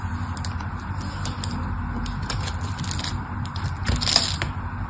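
A craft knife cuts into the corner of a solid pink bar soap held in the hand, cracking off larger chunks. Sharp, bright cracks and scrapes break over a steady low rumble, growing louder near the end.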